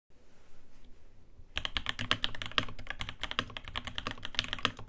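A navy Rama Works Lake U80-A Alpaca 80% mechanical keyboard, with an aluminium case, brass plate and dark ABS keycaps, rests on a desk mat while both hands type on it continuously with their fingertips. After about a second and a half of faint low hiss, a steady run of quick, sharp, clacky key taps begins. The taps are bright and short-lived, centred around 3 kHz, with a soft low thock underneath.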